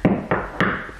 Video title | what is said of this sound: SOMEONES LIVING in UNDER GRACE SHARERS HOUSE!! | If I tap here, hollow.